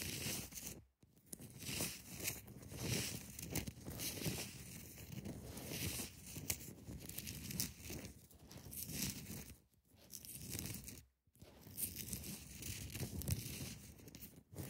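Long nails scratch the sides of a large solid block of ice, then tap and scratch its top surface and edges. The result is a steady, dry, crackling scratch with bright, gritty highs and soft low thuds from the taps, broken by a few brief near-silent pauses.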